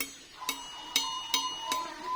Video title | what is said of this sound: JANGAN SALAH MEMAHARI KERIS -- Gus Ahmad | Ini bahannya apa bagus sekali. Ini ting sekali.